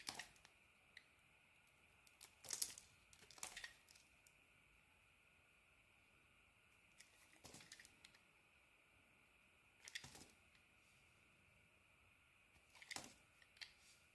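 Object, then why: Bar of soap cut with a knife blade. A utility knife blade scrapes and shaves slices off a hand-sized, solid orange bar of soap that is already partly carved. Quiet bursts of crisp, bright scraping and crackling come in short clusters separated by near-silence, with a faint steady high tone underneath throughout.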